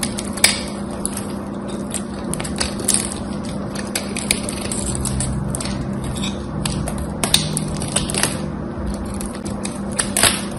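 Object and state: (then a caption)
Bar soap being shaved. A small knife blade shaves a solid, dry bar of soap with a gold-scored, gold-coated surface, the bar held in fingers with long white nails. Dense, crisp crackling and scraping runs throughout, punctuated by sharp bright snaps as flakes break away, over a steady low hum.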